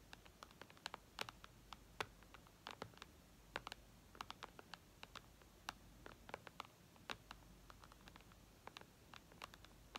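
Long red nails tap and scratch the glass screen of an iPad lying flat, making quiet, sharp, bright clicks that fall in an irregular patter over a faint hiss. Each tick is dry and dies away almost at once, with soft scraping between the taps.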